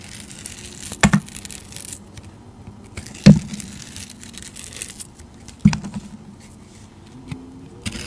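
A utility knife blade slices and scrapes the purple holographic glitter coating off a solid, rectangular, hand-sized soap bar held in a hand with long teal nails. Three sharp, crackly scraping cuts stand out, each dying away almost at once, with softer low scratches and crinkles filling the quiet gaps between them.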